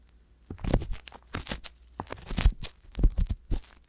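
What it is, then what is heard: Ear pick scraping inside a silicone microphone ear. An ear pick scratches and rubs inside the canal of the left silicone ear on a binaural microphone. Close, crackly scraping comes in short bursts with brief pauses, carrying a deep low thump under bright, papery crinkling.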